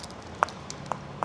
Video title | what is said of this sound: ŞEHRİNİ GEZDİR - İzmir – Takipçimle Güzel İzmir’de Lezzet Turu - Ayaküstü Lezzetler | แข็งมากแต่เมื่อเราย่างกลับไปกลับมาแบบนี้และมันถูกเอาเนื้อออกไปแล้ว.กรอบมากขึ้น.